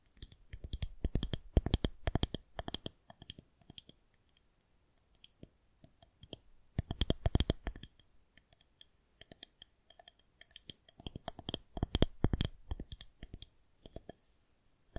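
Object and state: Plastic rolling pin tapped with fingernails.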